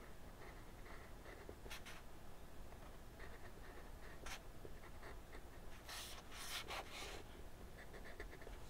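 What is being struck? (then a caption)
Wooden colored pencil on a paper sheet over a desk. A teal wooden colored pencil, held in the fingertips, makes light strokes on a sheet of flat white drawing paper resting on a wooden desk, outlining a dragon's head. Quiet, scratchy rubbing continues throughout over a low background rumble, with a faint tone near 2 kHz. Brighter, hissier strokes stand out near the middle and toward the end.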